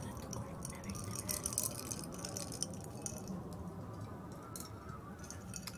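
A tall clear glass tumbler of cola and ice cubes is held and gripped by hand while long red nails tap the glass. Quick, irregular bright clinks and taps ring briefly as the ice rattles inside, over a steady low rumbling background.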